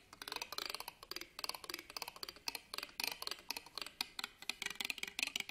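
A black pen scratches and taps along the ribbed metal clasp frame of an embroidered fabric purse held upright on a table. The result is quick bursts of dry, bright clicking and rasping ticks in uneven clusters. The sound has almost no low end and a clicky tone around 2.5 kHz that dies away instantly.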